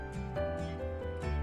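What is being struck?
Nothing is struck.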